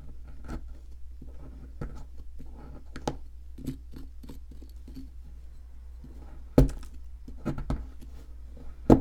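A metal chisel scrapes a solid white plaster fossil excavation block held in the hand, making short, dry scratching clicks at an irregular pace over a steady low hum. Two sharper, louder scrapes stand out near the middle and at the very end.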